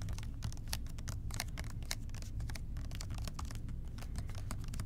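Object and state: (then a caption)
Plastic spray bottle tapped. Fingertips tap rapidly on the sides of a large, hollow blue plastic spray bottle with a white trigger. The result is a quick, steady patter of short, dry clicks over a low, hollow thud that stays even in level throughout.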